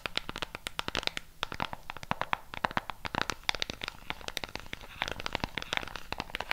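Long pink nails rapidly tap and scratch the colored rubber buttons of a flat black plastic LED remote control. The sound is a dense stream of short, dry, bright clicks that die away almost instantly, mixed with soft scratchy rustling between them.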